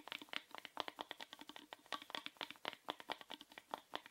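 A small hollow orange plastic rectangular box, held upright, is tapped and scratched quickly with fingernails. The result is a rapid, uneven run of quiet, dry clicks and scrapes with a bright, hollow plastic tone around 1 kHz. Each tap dies away almost instantly.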